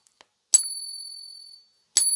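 A silver coin set in a pocket ping tester is flicked, giving a high, bell-like ping that rings out for about a second before fading. A second flick near the end starts another ring. This is a ping test for genuine silver, though no result is given for this coin.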